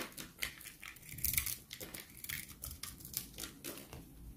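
A utility knife blade scrapes and carves crunchy shavings from a solid, dried rectangular bar of soap, blue on the outside and white inside, held in hand. The sound is a dense run of dry, crackling scrapes with bright high-end crunch and short, quick bursts.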